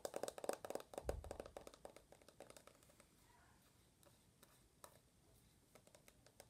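Long nails tap fast on the aluminum back and edges of an uncased rose-gold iPhone held upright, making quick, dry, clicky taps with a slight midrange tone around 560 Hz and a bright tick on top. The taps come dense and louder in the first two seconds, then thin out into softer, scattered clicks, each dying away almost instantly.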